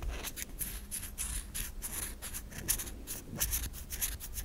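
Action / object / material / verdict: scrape / solid bar of soap / soap / none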